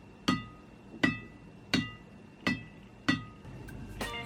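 A freshly strung badminton racket with a Hundred (HNDRD) synthetic hybrid string is struck on its string bed. Five evenly spaced, sharp, bright pings are followed by a couple more near the end, each with a low thump and a quick, ringing decay. The string sound is loud, crisp and ringing, and not disappointing.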